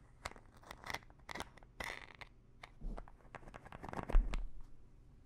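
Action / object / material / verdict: scrape / small plastic pill bottle with pills / plastic / none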